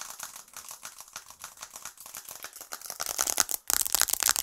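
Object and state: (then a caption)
Smartphone with glass screen and metal frame. Long acrylic nails tap rapidly on the glass screen of a smartphone with an aluminium frame, held close up and then above and beside the microphone. The taps are quick, dry, bright clicks with no low end and almost no ring. They grow louder and denser toward the end, broken by a brief silence.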